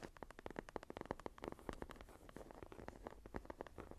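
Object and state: Leather journal.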